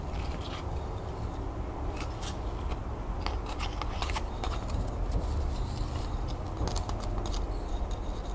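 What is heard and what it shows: Long nails scratch and tap the bark of a bundle of bark-covered, solid wooden twig pencils tied with twine. Dry, crackly scratching comes in short bright bursts over a steady low rumble, at an even, soft level throughout.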